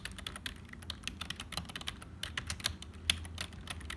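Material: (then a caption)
Plastic. Continuous typing with the fingertips of both hands on a black HP full-size plastic keyboard that sounds hollow. About twenty quick, bright clacks land in an uneven stream, each dying away almost instantly, over a faint low rumble.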